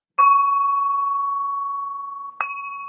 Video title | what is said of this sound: Two Chaps Live Sale | I'm just gonna ping it so you can hear that wonderful lead ring